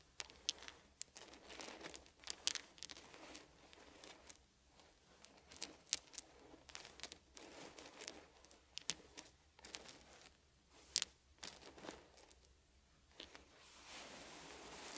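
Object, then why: Small wooden beads. Fingers pick up and sort small, solid wooden beads from a pile, making quiet, bright clicks and rattles in scattered bursts over a soft, steady low hum. The clicks are short and dry with almost no ring. Brief pauses fall between clusters, and a faint rustle fills the last few seconds.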